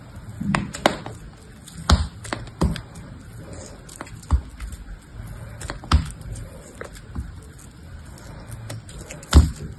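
A metal box-cutter blade shaves and scrapes pieces off a small, dry, solid soap block, grey with a blue top layer, held in a hand with soap residue on it. Short, dry scraping cuts and crisp clicks come at irregular intervals over a quiet, low background, each ending almost instantly.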